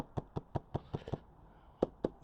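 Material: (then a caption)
Plastic. A closed plastic Shad 35 l motorcycle side case for a Kawasaki Versys 1000 SE is shaken after being sprayed with water to test for leaks, giving nine short, dull knocking thumps with a brief pause before the last few. No sloshing is heard, and the case proves completely dry inside with not a single drop of water.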